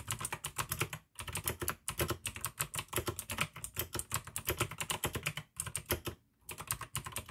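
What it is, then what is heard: Plastic mechanical keyboard. Fingertips of both hands type fast on a full-size pink AUKEY mechanical keyboard with plastic keycaps, RGB backlight and clicky blue switches, resting on a desk by candlelight. A dense, steady stream of sharp, bright clicks over a low plastic clack fills the clip, broken by a few brief pauses near 1, 5.5 and 6.3 seconds.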